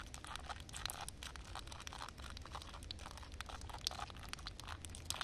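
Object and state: Wet concrete slab.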